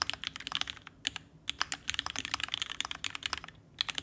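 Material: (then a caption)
Plastic, aluminum. Fingertips of both hands type rapidly and continuously on a red ergonomic Alice-layout TGR Alice mechanical keyboard with vintage black switches, an aluminum case and plate, and pink and white plastic keycaps, resting on a desk mat. The result is a dense stream of short, bright, clacky key presses with almost no low end and no ring, with only brief pauses between bursts.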